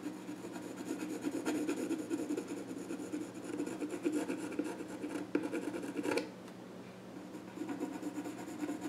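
A pencil rubs and scratches sketch lines onto the grain of the flat top of a small wooden child's stool. The sound is a steady, soft, dry scraping with a warm mid-low tone. It briefly eases to a quieter rub near the end before picking up again.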